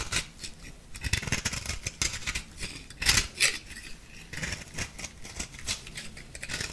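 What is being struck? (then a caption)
Compressed powder ball scraped with a small metal blade. An orange-pink bath bomb of compressed powder is held over a glass bowl and scraped with a small metal blade, and the powder crumbles off into the bowl. The scraping comes as a run of quick, dry, bright rasps, some louder bursts standing out, with faint light ticks and little low end.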